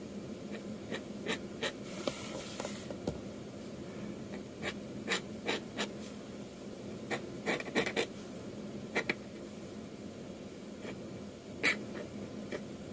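A metal dip-pen nib scratches across a flat sheet of manga manuscript paper in quick inking strokes, with the sheet rotated on the desk between lines. Each stroke is a short, bright, dry scratch over a quiet, steady low hum.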